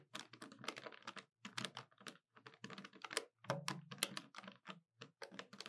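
Long nails tap and press the keys of a hollow black plastic desktop calculator, giving a quiet, rapid run of short, dry, bright clicks in uneven bursts with brief pauses. Each tap stops almost at once, with a faint low thump under the clicky plastic ticks.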